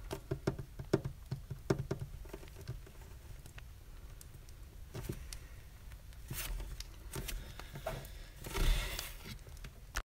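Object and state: Solid wooden desk.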